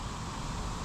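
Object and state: Nothing is struck.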